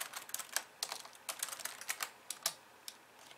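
Fingers type on a pink plastic computer keyboard with white keys, first quickly with both hands, then in slower presses with one hand's fingertips and long nails. The result is a run of short, bright plastic clicks and taps with almost no low end, each dying away almost instantly and thinning out toward the end.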